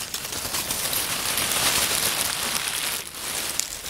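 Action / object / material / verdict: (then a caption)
scrape / pile of oak leaves / dry leaves / none. Fingers crumple, tear and crush individual crisp leaves from a small pile of dry oak leaves on a wooden table. The result is a dense, bright crackling and crinkling that holds steady, briefly dips near the three-second mark, then picks up again with a sharp snap.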